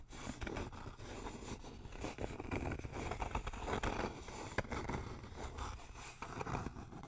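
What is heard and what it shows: A flat, rectangular, solid thin wooden sign lettered "RELAX" is held upright close in front of a microphone and tapped and scratched with fingertips and nails. The result is a steady stream of dull, low-heavy knocks and dry scraping with short, sharp clicks and little ring.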